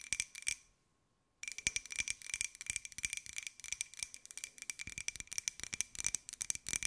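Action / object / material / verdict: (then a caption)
tap / small glazed ceramic jar / ceramic / none. Long acrylic nails tap quickly on a small, hollow, white glossy ceramic jar with a pineapple print, held close. Rapid, bright, clicky taps carry a faint ringing tone near 2.4 kHz that dies away almost instantly. A brief silent pause comes just before the one-second mark, then the fast tapping resumes steadily to the end.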